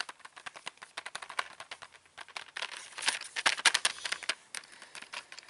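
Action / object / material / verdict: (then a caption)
tap / cardboard box of colour pencils / cardboard / none. Fingertips and nails rapidly tap and scratch the printed front and back of a flat cardboard box holding 36 colour pencils, the hollow box held up in the air. Quick, irregular, dry clicks with bright papery highs follow one another with barely any ring. A louder, denser scratching stretch comes in the middle before the tapping thins out again.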